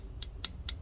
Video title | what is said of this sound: Something Obscene Company J-Cape Review | it feels it feels hollow when you when you tap on it